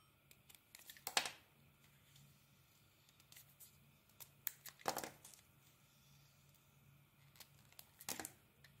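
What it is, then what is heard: Coated soap bar being carved. A metal utility blade scrapes and carves thin shavings off a solid rectangular Dalan soap bar with a metallic gold coating and a purple interior, held in the hand. Short, bright, crisp scraping and crackling strokes come at irregular intervals, with the strongest ones near the start, middle and end, over a quiet background with a faint low hum.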